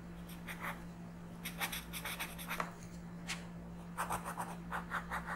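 A yellow colored pencil is rubbed in quick strokes across a flat paper coloring book page. Bursts of dry, bright scratching rise and fade in irregular clusters over a steady low hum.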